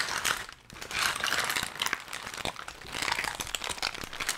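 Brown kraft packing paper is crushed into a ball between both gloved hands. The result is a continuous, dense crackle of bright, dry crinkles with almost no low end and a brief quiet dip just after the start.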